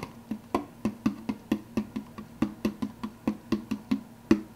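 Fingertips and nails quickly tap and scratch the clear plastic lid of a large, empty, translucent blue plastic soda cup, giving about 19 short, hollow, woody clicks. Each tap is distinct and fades almost at once, with a low plastic resonance near 200 to 300 Hz and some bright scratchy edges.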